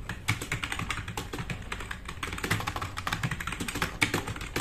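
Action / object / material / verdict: tap / plastic mechanical keyboard / plastic / none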